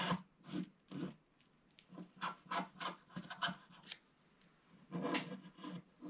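A wooden stick scratches the coating near the bottom edge of a flat black wax-coated scratch art paper card held in one hand. A series of short, dry rasping strokes is heard, with a quiet gap before the final cluster.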